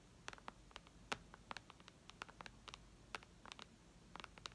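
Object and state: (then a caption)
Fingernails tapping a tablet's glass screen. Long red nails tap rapidly on the glass touchscreen of a white iPad lying flat. About 22 short, sharp, clicky taps come in an uneven rhythm, each with bright, high clicking and almost no ring, over a quiet background.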